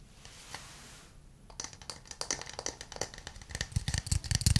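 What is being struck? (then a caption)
Small wooden cup. A small hollow wooden cup, held in both hands, is tapped on its outer surface with fingernails and fingertips. After about a second and a half of near silence, irregular taps begin. They start as quiet, bright clicks and grow louder and denser, with a deeper, hollow thump toward the end.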